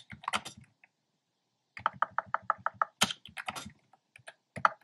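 Fingertips type steadily on a black plastic keyboard with hollow, round, retro-style pastel keycaps. About seventeen short, sharp clacks ring near 1.3 kHz with bright tops, grouped into bursts around a brief pause. The quick run of evenly spaced clicks in the middle sounds the most regular.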